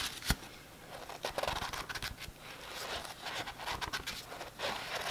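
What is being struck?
Paperback book, thick paper with glossy cover.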